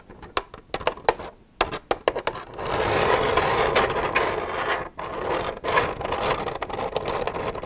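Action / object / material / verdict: scrape / plastic milk jug / plastic / none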